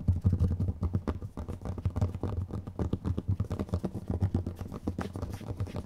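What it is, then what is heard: Plastic jar, scratched and tapped. Long nails scratch and tap rapidly on two identical small, round, clear plastic dome jars with strawberry labels and red contents, held one in each hand. The sound is a dense stream of short, dull, low-pitched knocks and scratchy rubs with almost no high end, each tap dying away almost at once.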